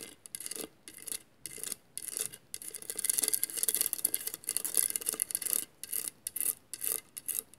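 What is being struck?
Glass mosaic vase.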